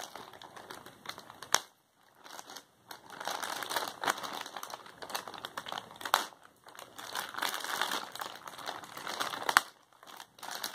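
A filled white plastic poly shipping mailer is worked at with fingers and nails that scratch and peel at its sealed strip. The result is continuous dry crinkling and crackling of the plastic, broken by a few sharp clicks and brief quiet pauses. The sound sits mostly in the mids and highs, with no low end.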